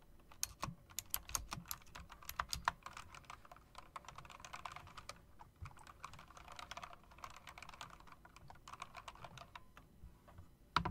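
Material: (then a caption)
Plastic, metal. Fingertips with long dark nails tap the round typewriter-style keycaps of a backlit plastic and metal mechanical keyboard. A steady stream of quick, bright clicks and clacks rises over a faint low background hum, with a few sharper, louder key strikes standing out.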